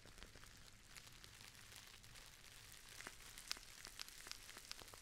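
A Dammann metallic foil tea pouch, held near the face, is crumpled and squeezed with fingers and long nails. The result is quiet, bright, irregular crinkles and sharp ticks over a low steady hum.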